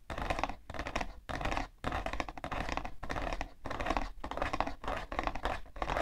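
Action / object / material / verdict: scrape / cardboard tissue box / cardboard / none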